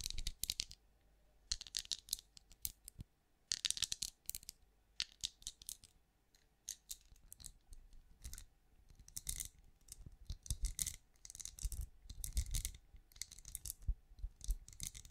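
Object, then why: Ridged plastic night lamp. Long manicured nails tap and scratch the ridged, bumpy translucent shell of a small hollow glowing night lamp, probably plastic or silicone, held in one hand. Quick bursts of dry, bright clicks and scratchy ticks come in clusters, with short quiet gaps between them.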